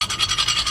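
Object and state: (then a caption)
Worn brake pad grinding on the disc rotor. A worn brake pad, rubbed down to a rough, shapeless state, grinds metal-on-metal against the steel disc rotor as the car's brake is pressed. The sound is a bright, harsh rasping scrape that swells and fades in about eight quick pulses, with almost no low end. The contact has left the rotor scored and rough, so the rotor should be replaced.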